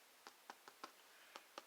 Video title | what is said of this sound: Easy Homemade Bread Grandma's Water Bread 4 loaves / No milk /Rolls Cinnamon Rolls Pizza Crust More! | you hear the hollow. That is because they are well done.